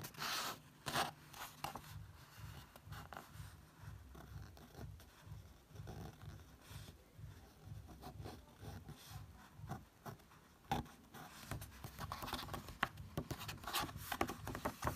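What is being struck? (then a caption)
Paper book page. Fingertips trace across and lightly tap an open paper book page printed with a portrait photo. The result is quiet, dry scratching and brushing with soft, short taps and a faint low rumble underneath, growing a little brighter and busier toward the end.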